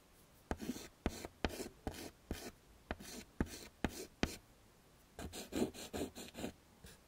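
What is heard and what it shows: A stick of pink and white chalk, held in the fingertips, scrapes across a small, flat black chalkboard in a wooden frame to draw flower petals. Each stroke starts with a sharp tap, then a brief, dry scratchy rasp. The strokes come in an uneven series with short pauses, ending in a denser run of quick scratches.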